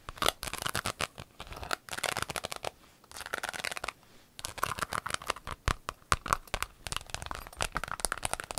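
Long acrylic nails tap and scratch across the surface of a flat, empty, rainbow clear vinyl pencil case. Quick bursts of dry, bright, crinkly clicks and scrapes come in clusters, separated by brief pauses.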